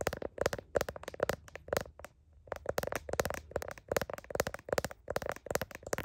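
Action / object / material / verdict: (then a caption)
tap / smartphone in plastic case / plastic / none. Fingertips and nails of one hand tap and scratch the back and camera lens area of a handheld smartphone in a glossy blue heart-print plastic case, while the other hand holds the phone. The result is a quick run of sharp, dry plastic clicks with a hollow tone around 550 Hz and bright scratchy edges, pausing briefly near the two-second mark before resuming.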